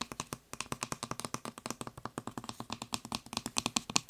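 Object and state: Plastic spray bottle trigger head.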